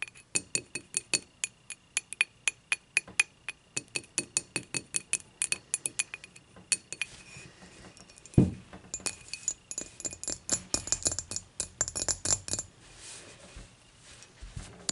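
Long nails tap rapidly on the handle of an empty glass beer mug, giving a steady run of short, bright clinks. Near the middle there is a louder low thump as the mug is lifted and set upright. The nails keep tapping on the glass in quicker, denser bursts that fade toward the end.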